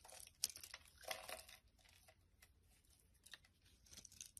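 A black utility blade shaves curls off the surface of a palm-sized, solid, translucent amber glycerin soap bar held in the hand. Quiet, crisp scraping and crinkling strokes come in irregular bursts, bright and dry with almost no low end and no ring after each cut.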